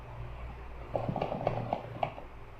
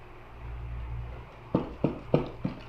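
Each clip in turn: First: Six short clunks from a shaken box, the heavy item inside knocking with a hard, slightly metallic edge. Second: Four dull, low thumps as a cardboard box is shaken; no metallic clink, so the contents aren't metal.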